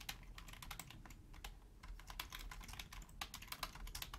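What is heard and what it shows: Both hands with long nails type rapidly on a black Logitech full-size hollow plastic keyboard. Quick, bright clicky key taps overlap in a dense stream above a steady low rumble, each tap dying away almost at once.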